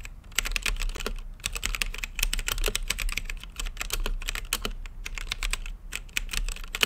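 Fingertips type continuously on a plastic mechanical keyboard with plastic keycaps set in a translucent acrylic case. The result is a fast, uneven stream of short, sharp clacks, bright and centered around 3 kHz, over a steady low hum.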